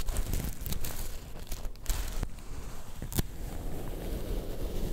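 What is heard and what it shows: A black sequin-covered fabric star is held in both hands while fingertips and nails stroke and scratch across its sequins. A steady, low crinkling rustle runs throughout, broken by brief, sharp scratchy clicks.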